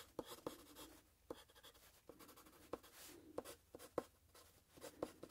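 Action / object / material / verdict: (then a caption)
scrape / graphite pencil on a paper sheet over a plastic clipboard / paper / none. A wooden graphite pencil is drawn across a paper sheet resting on a handheld plastic clipboard in continuous scratchy strokes. Quiet, dry scratching with a soft hiss is broken by sharp, short clicks that carry a brief tone around 500 Hz and die away almost instantly.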